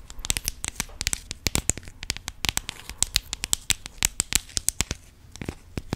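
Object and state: Plastic rhinestone organizer box.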